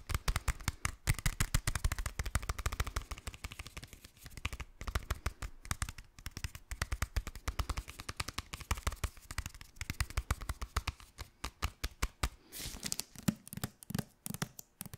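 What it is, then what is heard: Hardcover book. A solid hardcover copy of the novel "Stalker" with a glossy dust jacket is tapped quickly on its cover with fingernails. It makes a dense, fast stream of dry, clicky taps with a low thump and bright edges that stop almost instantly. There are brief pauses, and the final few seconds turn brighter.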